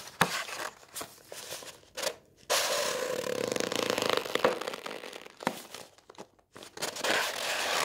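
Fingers wearing rings press, rub and crinkle the shiny folded pages of a glossy coated-paper brochure lying on a wooden table. Sharp crackles and crunches alternate with a long, steady rubbing hiss in the middle. The sound is bright and papery, with almost no low end.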